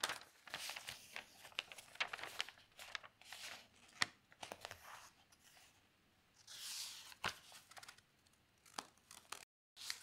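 A hand turns a page of newsprint newspaper spread on a table and smooths it with the fingertips. The paper gives bright, tearing-like crinkles and sharp crisp clicks. Between them come softer rustling swells and brief quiet gaps.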